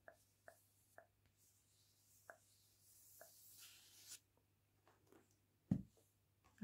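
Long painted nails and fingertips scratch and rub the glossy card cover of the paperback *The Witchery*, making a series of short, crisp ticks followed by a longer, bright, hissing rub. The book is then set on the wooden table with a louder, dull knock, over a faint steady low hum.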